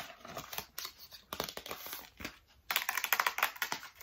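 Long nails tap rapidly on the front face of a medium printed cardboard retail box for a waterproof speaker, held upright with its contents inside. The irregular, dry clicks and light scratches are bright and crisp with almost no low end or ring. They start soft and sparse, then become a louder, denser burst in the last second and a half.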